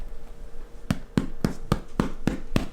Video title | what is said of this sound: Make Sourdough With Me | you hear that that's how you know it's done